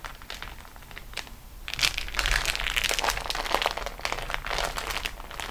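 Long nails rest on and scratch the top edge of a flat, crinkled beeswax-coated cotton food wrap sheet lying on a table. Soft scratching opens the clip, then from about 1.7 seconds it turns into louder, denser bursts of bright crinkle and crackle that keep going irregularly to the end.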